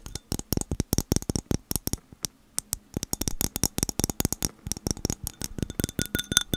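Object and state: Glass object being tapped.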